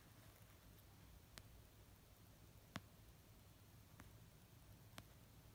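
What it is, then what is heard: Paperback book. Fingertips with short, dark-painted nails slowly tap an orange paperback novel of solid paper lying on a fluffy blanket. Four soft, widely spaced taps land as brief, dry clicks with a faint bright edge, each dying away almost instantly. Between them, only a quiet, low background hiss remains.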